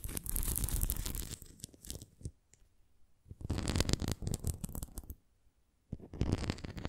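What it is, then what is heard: Plastic flying disc scratched and tapped. Long nails scratch and tap the rim and bumps of an upright red plastic flying disc toy. Busy scratching and clicking come in three bursts separated by near-silent pauses, full in the lows with a bright, crackly edge.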